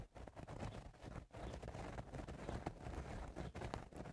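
Fingernails scratch the sides of the crown of a woven straw cowboy hat, making a dense, crackling, scratchy rustle. The scratching runs almost continuously, with brief pauses near the start and around one and a quarter seconds.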